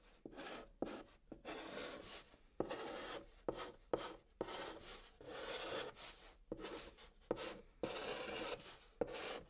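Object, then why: Chalk stick on cardboard box top. A white chalk stick held in the fingertips writes Korean letters on the top of a large, flat, hollow brown cardboard box. Each stroke gives a dry, raspy scratch with a papery midrange and a bright hiss, and many strokes start with a sharp little tap. The short bursts come in quick succession, separated by brief pauses.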